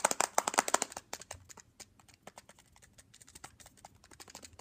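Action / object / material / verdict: tap / plastic handheld game console / plastic / none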